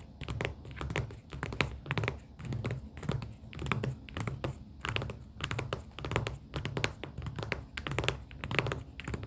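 Long pink acrylic nails tap on pastel paper sticky-note tab stacks in a cardboard booklet. Quick, irregular dry clicks and soft papery taps come in clustered bursts over a low, muffled thumping, with each hit dying out almost instantly.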